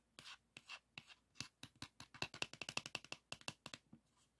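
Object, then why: Plastic floppy disk with paper label. Fingertips and nails scratch and rub the paper label and plastic shutter area of a pink 3.5-inch plastic floppy disk held close. About two dozen short, bright, dry scratching strokes come in separate bursts, speeding into a quick run in the middle before slowing. There is almost no low end and no ring after each stroke.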